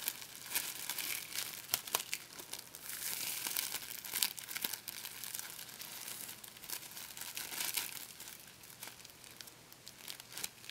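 A sheet of thin, sticky, clear plastic packing tape is stretched, scrunched and peeled between the fingertips of both hands. It gives a steady run of bright, dry crinkling and crackling, with quick sharp snaps and almost no low end.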